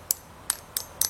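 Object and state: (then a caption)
Hardened cured epoxy putty. Letters shaped from epoxy putty, left to cure for just over two hours, are tapped four times. Each tap is a short, bright, high-pitched ting that dies away quickly. The clear ring shows the putty has already hardened well.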